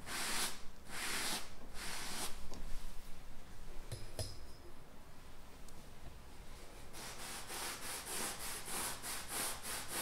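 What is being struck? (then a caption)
Stretched painted canvas. Fingertips and nails rub and scratch across a large stretched canvas bearing an oil painting of bison, the taut fabric over a hollow frame. Broad, hissy strokes repeat in bursts, with a couple of sharper clicks near the middle before the strokes return in a quicker, steadier rhythm.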